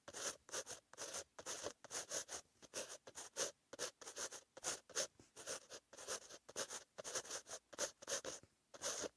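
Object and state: Pen writing on a paper notebook page.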